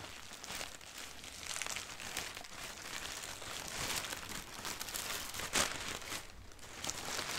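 A thin white sheet of doodle-printed tissue wrapping paper is crumpled as long nails scratch it and fingertips crinkle it. The result is a steady, bright, papery crinkling and rustling with irregular sharper crackles, including a louder burst near the middle.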